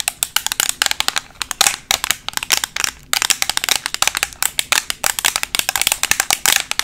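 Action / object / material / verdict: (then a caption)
tap / plastic eyeshadow palette case / plastic / none. A black, flat, thin rectangular Makeup Revolution plastic eyeshadow palette, closed and held in both hands, is tapped rapidly with metal paperclips fixed over long acrylic nails. The result is a dense, continuous stream of sharp, bright clicks with almost no low end, each dying away almost instantly, broken by a few brief pauses.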